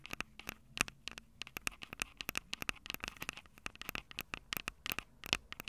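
Long purple nails tap rapidly on the silver metal mic capsules of a Tascam DR-05 handheld audio recorder. Dozens of sharp, dry, bright clicks follow in an irregular patter, each dying away almost instantly. There is a steady ringing tone near 2.6 kHz and little low end.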